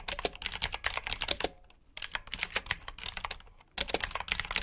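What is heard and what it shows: Fingertips of both hands type continuously on the keycaps of a black plastic RGB mechanical keyboard with blue switches. The result is bursts of fast, bright clicky keystrokes, broken by two short pauses.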